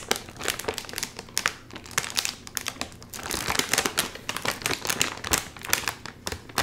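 A full, sealed red and white metallized plastic chip bag is crinkled by both hands while its top seal is tugged. Dense, bright crackling and crinkling come in irregular bursts of sharp rustles that fade quickly. The bag stays sealed throughout.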